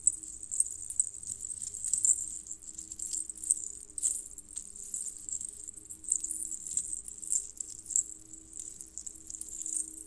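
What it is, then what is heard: Metal jingle bell necklace. Strands of small hollow colored metal jingle bells on a red cord are stretched out and then gathered between both hands, with fingertips jiggling and shaking the bells. A continuous bright, high metallic jingling and tinkling rises and falls in loose bursts, with a faint low tonal hum underneath.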